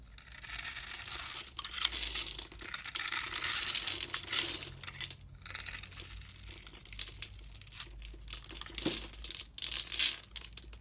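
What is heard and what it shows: A utility knife cuts a grid into a solid blue and white striped soap bar held in the hand and scrapes off small cubes. The sound is a dense, bright, crinkly scraping and crunching that runs almost continuously, with brief pauses near 5 and 9.5 seconds.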